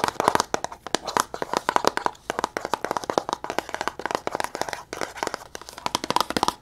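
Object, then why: Small cardboard box. A small, closed, red printed cardboard box is held in the hands and tapped and scratched very fast with long nails across its faces. The result is a rapid, uneven stream of dry, crisp clicks and scratchy crinkles centered in the midrange, with almost no low end and each tap dying away instantly.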